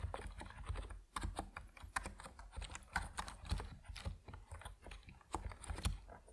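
An Epomaker NiZ Plum Atom 68, a 68-key compact mechanical keyboard with white and purple PBT plastic keycaps on a wooden desk, is typed on with the fingertips of both hands. Steady, rapid keystrokes give short, dull, low thocks with brief bright clicky tops, each dying away almost at once.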